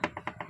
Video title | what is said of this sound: Universal Motorcycle Rear Luggage Box Bracket & Accessories set. Unboxing review | sa katagalan po niyan, naririnig nyo po yung tunog. Yan o, tumutunog po siya, lumuluwag